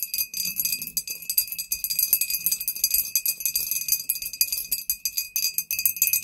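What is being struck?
Glass bottle.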